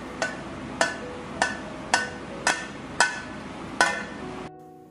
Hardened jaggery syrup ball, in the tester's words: కొడితే టంగుమని సౌండ్ వస్తుంది ఇలా టంగుమని సౌండ్ వచ్చింది అంటే పాకం వచ్చినట్టే